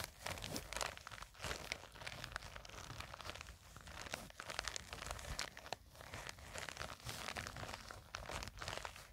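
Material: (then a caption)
Nylon. Long fingernails scratch and grip a small black printed nylon zippered cosmetic pouch that seems to be filled. The result is a steady, quiet stream of bright, crinkly scratching with dense, short scrapes and no ringing.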